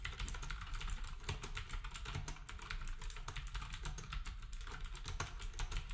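Fingertips type steadily on a black compact plastic typewriter-style keyboard with round plastic keycaps, while the other devices nearby stay untouched. Rapid, dense clicks and clacks run continuously, with short bright transients over a heavy low thump from each keystroke.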